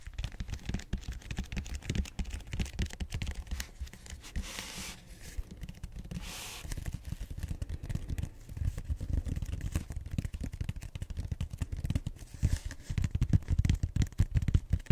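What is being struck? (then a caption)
Bead-foam roller end face. Fingertips and nails scratch and tap the flat round end face of a purple bead-foam styrofoam roller, its beads visible. The sound is a dense, dry stream of close, low, thumpy scratches and taps with short bursts of brighter scraping hiss, and it grows louder and more clipped near the end.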